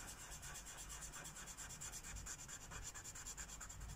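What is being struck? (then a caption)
Felt-tip marker on a paper page over a wooden table. A purple felt-tip Sharpie marker rubs back and forth across a thin white paper coloring book page resting on a wooden table, filling in a petal. The result is a continuous, bright, hissy scratching with a soft, uneven rhythm of strokes and a faint low thump beneath.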